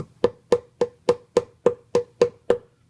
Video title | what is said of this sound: '50s Record Player - Cigar Box Tube Guitar Amp Robot Conversion | you can actually hear it make a note when you tap it